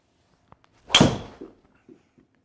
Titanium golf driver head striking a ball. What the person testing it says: you sometimes would expect a bit of a tinny sound, but no, it sounds really solid from here